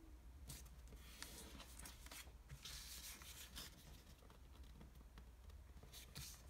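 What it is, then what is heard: Origami paper being folded. A single pink square sheet of origami paper on a table is folded by fingertips that rub along its creases. Soft, dry crinkles and bright papery swishes come in quick, uneven bursts over a low, steady hum. The sound stays quiet and close throughout.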